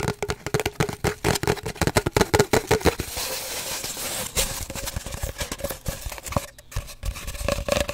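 Fingernails tap and scratch quickly on an empty, hollow cardboard paper towel roll held horizontally. About three seconds of rapid, dry taps carry a hollow resonance near 400 Hz, then a stretch of steady, bright scratching follows. It ends in a mix of quick taps and scratches.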